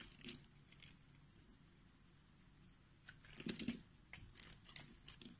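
A utility knife blade scrapes and cuts small cubes from the scored face of a solid white rectangular soap bar held in the hand. Quiet, dry scraping and crumbly crunching carry bright, crisp edges, with short sharp cuts rising out of a soft hiss. A denser, louder burst of cutting comes just past the midpoint, followed by scattered lighter strokes.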